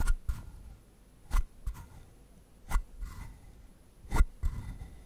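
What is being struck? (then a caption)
Carved wooden frog. Fingertips scratch the textured surface of a palm-sized hollow carved wooden frog, producing seven short, dry rasping strokes, mostly in pairs of a stronger scrape followed by a lighter one. Each stroke has a bright, papery rasp over a low hollow body and dies away almost at once, with quiet gaps between them.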